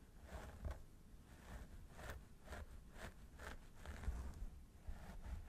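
Fingertips scratch and rub the scalp of a mannequin training head through its long blonde synthetic hair near the parting. The result is a soft, continuous, repeated scratchy rustle with low rumbling thumps underneath.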